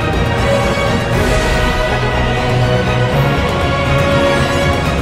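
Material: Nothing is struck.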